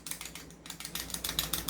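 A non-upgraded airsoft 1911 pistol is shaken, and its loose outer barrel rattles in a rapid series of short, bright clicks that grow louder over the clip, over a faint low hum. The rattle shows that the outer barrel is loose, unlike on the upgraded pistol, where a fixed outer barrel does not move.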